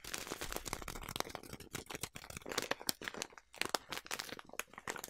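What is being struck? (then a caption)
Plastic bag partly filled with oats. A large, partly full yellow plastic bag of oats is crumpled and scratched by long nails. The sound is dense, crackling plastic crinkling with sharp, bright transients and brief pauses.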